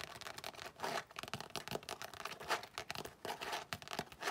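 Long nails rub and scratch across a tan, floral-embossed tooled leather zip-around wallet lying flat. Dense, dry scratching and brushing textures come in quick, uneven bursts of bright, high-pitched rasping with very little low end.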